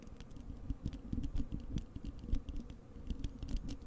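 Long acrylic nails on both hands scratch across the bare, hollow wire-mesh metal grille of a large desktop microphone. A rapid, uneven patter of short scratchy clicks comes through as dense, boomy low thuds with faint bright ticks on top. Each stroke dies away almost instantly.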